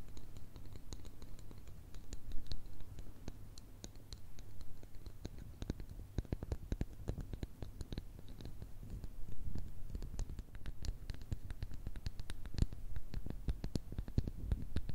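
Long red nails scratch and tap two solid, light wooden dowel sticks held side by side in front of the microphones. A steady run of dry scratching mixes with many quick, sharp taps and clicks over a low, constant hum, each tap dying away almost at once.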